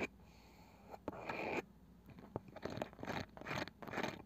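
Long nails slowly scratch and tap the light wooden lid of a small round box with a woven cane side, likely hollow. Bursts of dry, crunchy scraping alternate with a few sharp, short taps in a quiet, close setting.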